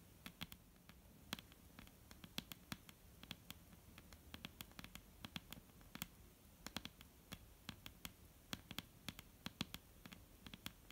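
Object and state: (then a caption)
Wooden table top tapped with fingernails. Long almond-shaped painted nails on both hands tap across a large, solid, dark brown wooden table top. The quiet, rapid, irregular taps are short, sharp and clicky, with bright highs and almost no ring. A soft low rumble sits underneath.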